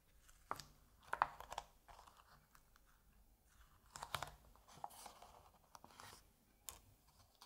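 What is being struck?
Printed paper comic book pages.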